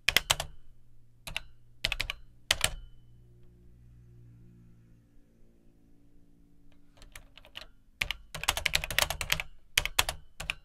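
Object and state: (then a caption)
Plastic home computer keyboard being typed on. Fingertips type on the dark plastic keycaps of an Atari 800XL home computer's hollow plastic keyboard case, slower than in earlier stretches. Sharp, bright clicks come in a few spaced keystrokes, then a quiet pause filled with a low, shifting hum, before a denser burst of typing at the end.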